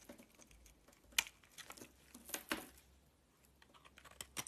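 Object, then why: Soap bar scraped with a blade. A solid green bar of soap is held in hand while a box-cutter blade scrapes along its edge. The result is a quiet series of short, dry, bright scraping and crackling strokes at an uneven pace, with a few sharper accents.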